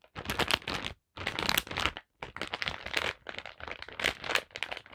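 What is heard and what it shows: Long black pointed nails tap and scratch across a flat holographic foil/plastic zip-lock pouch lying on a table, filled with a paper card, wire hoops and small packets. The result is bright, crisp crinkling and rapid clicking taps in quick bursts, separated by two brief silences.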